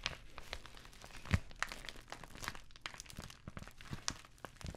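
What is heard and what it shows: Long nails tap and scratch across an empty white padded bubble mailer, crinkling its bubbled plastic. Quiet, dense crackles and rustles fill the clip, with bright, short ticks scattered throughout and a slightly louder, fuller crunch about a third of the way in.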